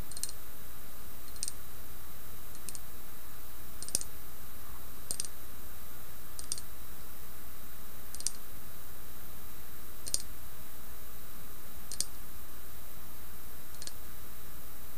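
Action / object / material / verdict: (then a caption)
tap / faceted solid glass knob / glass / none. Long nails tap and click on the facets of a faceted, solid green glass knob resting on an ornate metal stand. Short, bright clicks land at uneven intervals over a steady background hiss.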